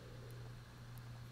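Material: Nothing is struck.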